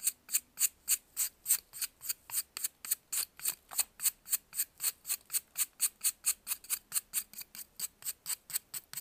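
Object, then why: Pressed baking soda block scraped with a metal knife. A metal knife scrapes and carves a solid white, faceted block of pressed baking soda held in blue-gloved hands. About 36 short, crisp, bright scraping strokes follow one another in a fairly steady rhythm, each a dry hiss that stops almost at once.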